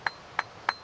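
A flint nodule, fresh from the cliff on a beach, is tapped three times and gives three short, bright, crystal-like clicks centred around 1.7 kHz. Each decays almost immediately. The clear ring marks it as a sound piece with few flaws.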